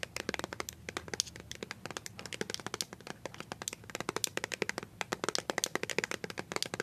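A small white plastic BB cream squeeze tube, partly hidden by a hand, is tapped quickly with paper-clip-covered nails. The result is a dense stream of sharp, bright clicks with almost no ring and little low end, heard close in a quiet space.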